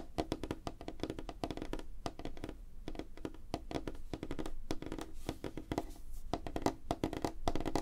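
Fingertips and nails tap rapidly on a solid, flat light wooden tabletop. A dense stream of short, dry knocks runs throughout with no ring, each tap a woody thunk centered around 280 Hz with a faint bright click from the nails.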